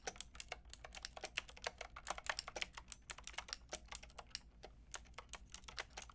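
Fingertips with long red nails tap on a Lofree plastic mechanical keyboard with a plastic frame and round keycaps. A steady run of quick, sharp, bright clicks dies away almost instantly, over a faint low hum.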